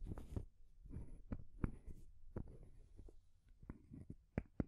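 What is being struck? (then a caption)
Painted wooden stacking ring toy. Long nails tap and scratch the wooden ball top and solid painted wood rings of a small rainbow wooden stacking ring toy. Quiet, dull, low knocks with very short decay stand out over a soft, continuous scratching rustle.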